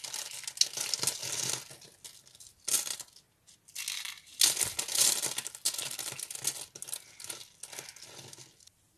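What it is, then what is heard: Dry soap flakes crushed by hand. A pile of small, dry yellow soap flakes is squeezed and crushed by fingers and palms. It gives bright, crisp crunching and crinkling in irregular bursts with brief quiet pauses. The sound is almost entirely high, with little low end.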